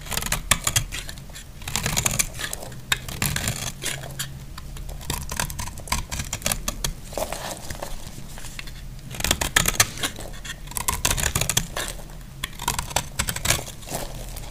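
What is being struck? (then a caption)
Bar of soap cut and scraped with a blade. A utility knife blade cuts and scrapes a solid, dry pink bar of soap, shaving off crumbly flakes. The result is bursts of crisp, bright crackling and gritty scraping with fast, dense clicks, over a soft low rumble.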